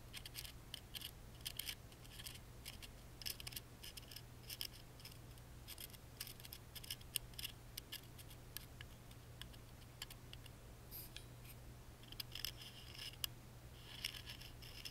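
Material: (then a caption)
Plywood. A wooden toothpick scratches and taps the engraved side panel of a small, hollow, laser-cut plywood music box with a fretwork pattern, held in the hand. Quiet, dry, bright clicks and scratchy rasps come in quick irregular bursts with no ring, over a steady low hum.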